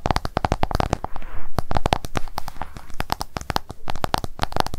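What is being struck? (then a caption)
Smartphone glass screen. An iPhone held flat has its glass screen tapped rapidly with long acrylic nail tips. The result is a fast, uneven stream of short, dry clicks with a hard, bright edge and a faint mid-pitched ring, and a soft brushing rustle briefly fills a pause between the tapping runs.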